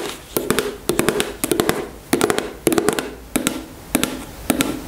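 Long nails tap repeatedly on the soft body of a white plastic cosmetic tube filled with gel, held horizontally in both hands. Quick clusters of sharp, bright clicks come in an uneven rhythm, each carrying a short, muted, hollow mid tone that dies away almost instantly.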